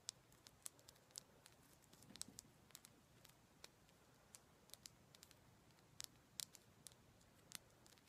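Fingernails tap on a piece of rose quartz stone, making many quick, sharp clicks at an irregular pace. Each tap is very short and bright, with almost no ring, over a soft, steady low hiss.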